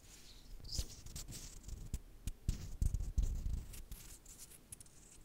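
Two small, solid, glossy brown plastic or resin backgammon checkers, lifted from the board and held between fingers with long dark nails, are clicked and rubbed against each other. The result is an irregular run of quick, dry clicks and taps mixed with soft scratchy rubbing, dominated by low thudding tones with faint bright edges. The loudest clicks cluster near the middle of the clip.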